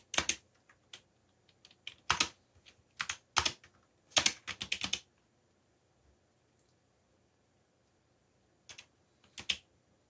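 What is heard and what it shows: Fingertips, one of them bandaged, type on a backlit mechanical computer keyboard with black plastic keycaps. Bright, crisp, short key clicks come in uneven bursts over the first five seconds. After a quiet pause, a few more keystrokes follow near the end.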